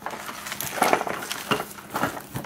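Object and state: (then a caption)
Cardboard box with loose broken plastic bits rattling inside. The cardboard shipping box of a Clockwork Pi DevTerm kit, holding plastic model parts and with crushed corners, is shaken. It gives a dry, gritty rattle of loose broken plastic bits from one crushed corner, like dirt sliding around inside, in several bursts of light clicks.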